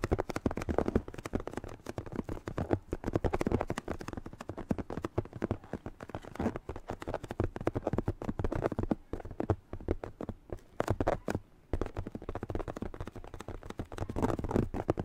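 A light blue latex glove, blown up like a balloon so it is hollow and air-filled, is held in both hands and squeezed and rubbed with fingertips close to a microphone. It gives a steady run of quick, dry rubbery squeaks and crackles with a muffled low body, easing briefly around the eleven-second mark before picking up again.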